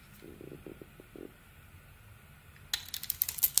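A small metal blade shaves and carves curls off a solid rectangular bar of soap, with a dark purple coating over an orange core, held in the hand. Soft, muffled scraping strokes come first, then after a quiet pause a run of bright, crisp scrapes and sharp cutting ticks.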